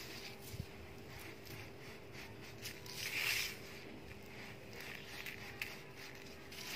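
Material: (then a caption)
Sand, cement. Bare fingertips of both hands rake and scratch furrows through a large loose heap of dry, fine grey sand-cement powder spread on a flat surface, then scoop handfuls and let it crumble and sift back down. Quiet, bright, gritty scratching and soft hissing trickles are heard, with a few sharper grainy ticks and a fuller rushing swell around the middle as the powder pours. A faint steady low hum runs underneath throughout.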